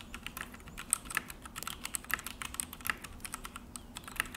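Both hands type with fingertips on a full-size Akko mechanical keyboard with an orange plastic case and black plastic HyperX keycaps, resting on a desk. A quick, steady run of short, dry clicks and clacks with bright, high-pitched ticks on top sounds as the keys are pressed, each stopping almost at once.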